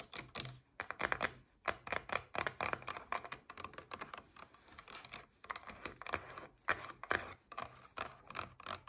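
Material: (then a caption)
Paperboard. Long nails tap and scratch on a paperboard coconut water carton lying on its side. Quick, dry, clicky taps come in uneven bursts, with bright scratching between them. Each tap dies away almost instantly with no ring.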